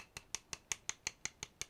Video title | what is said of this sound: Darkseid (DC Classics) & Metallo - Overview - #dcmultiverse #goldlabel #superman #dccomics | it does feel kind of hollow on there